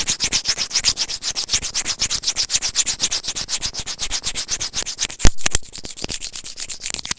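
Serrated plastic tweezers rub and scratch a small, hollow white plastic earphone inline microphone remote in quick, steady back-and-forth strokes, about four per second. Each stroke gives a dry, bright, scratchy rasp. Just past the five-second mark, two louder, harsher scrapes cut through, and then the rubbing continues more softly.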